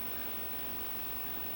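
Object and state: Nothing is struck.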